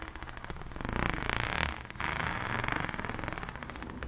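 Long nails scratch along the corrugations of an extended pink, ribbed, hollow plastic pop tube held diagonally. The result is a dense, rapid rattle of small clicks that swells, dips briefly just before the two-second mark, then carries on at a steady level.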